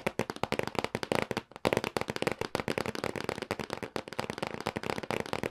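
Fingertips and nails tap repeatedly on the top surface of a medium-size printed cardboard retail box for a SNES Classic Mini lying flat on a table. The result is a rapid, uneven run of short, dry, hollow taps with a papery mid-range body around 520 Hz. A brief pause falls midway before the tapping resumes.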